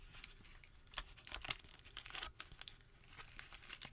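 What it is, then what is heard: Paper receipt being crumpled. A single sheet of thin printed thermal-paper store receipt is held in both hands over a white surface while fingertips crumple, unfold and crinkle it. Quiet, bright, dry crackles and crinkles come in quick irregular bursts with sharp tearing-like rustles and almost no ring.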